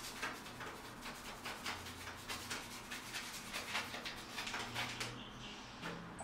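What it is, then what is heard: Rusted steel rebar in concrete being brushed. A purple plastic toothbrush is scrubbed briskly back and forth along exposed, rusted steel rebar running diagonally through a spalled, solid concrete ceiling with rough aggregate. The result is a steady, bright scratching and brushing sound made of repeated short strokes with a faint low hum underneath.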